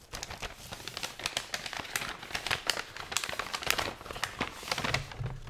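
An empty, folded blue paper gift bag for a party, held in both hands, is opened and flexed with the fingertips and long nails. It gives a steady run of quiet, bright paper crinkles and sharp little crackles that stop almost at once.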